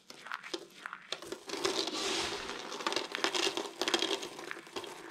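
A large pile of small, crushed, dry green and white soap flakes on a table is scooped up by hand and squeezed between cupped palms. The result is a dense stream of bright, dry crumbly crunching and crinkling with no low end, swelling into a sustained crush in the middle.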